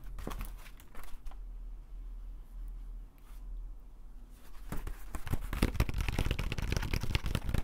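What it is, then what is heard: Woven bamboo conical hat. A large, hollow green woven bamboo or straw conical hat is held in both hands while fingertips and nails tap and scratch its woven surface. A few scattered dry taps give way to a quieter stretch of soft scratching, then dense, rapid crinkly tapping and scraping fills the last few seconds over a steady low rumble.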